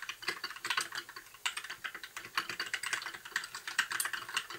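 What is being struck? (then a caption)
Plastic mechanical keyboard keys. Fingertips of both hands type continuous key presses on a compact white 60% mechanical keyboard with plastic keycaps and an RGB backlight. It makes a steady run of quick, bright clacks and ticks, each dying away almost at once, with no low-end thump under them.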